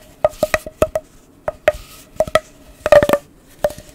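A long, hollow, blue corrugated plastic pop tube is held in both hands, rubbed and squeezed along its ridges with the fingertips, and stretched out. It gives a quick series of sharp, hollow pops and clicks with a tonal ring near 580 Hz and a faint bright rustle between them, with a tight cluster of pops near the end.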